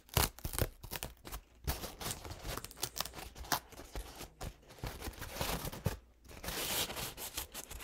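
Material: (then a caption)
Paper. A single thin, soft paper towel stained with purple, green and yellow paint is held up and unfolded, then crinkled and rubbed between the fingertips. The result is a continuous run of soft, papery crinkling and scratchy rustling with quick bursts and brief pauses.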